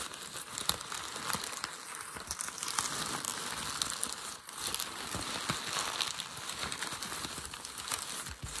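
A hand squeezes and rubs a sheet of crumpled, creased light grey packing paper resting on a desk. The result is a steady, bright crinkling and crackling with dense, sharp snaps and little low-end body. It carries on at an even level for the whole clip, with a brief dip about halfway through.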